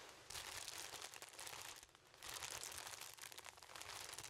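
Plastic cellophane wrap around a yellow object is held up and crinkled, with fingertips squeezing and rubbing the film. Dense, bright crackling comes in two long bursts, easing briefly around the two-second mark before building again. The sound is crisp and high, with almost no low end.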